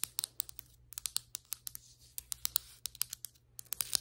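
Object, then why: Glazed ceramic floor tile tapped with long nails. Very long white acrylic nails tap and scratch the surface of large, solid glazed ceramic floor tiles with grout lines. About 25 sharp, bright clicks ring out, each dying away almost instantly, with soft high scratching between them over a faint low hum.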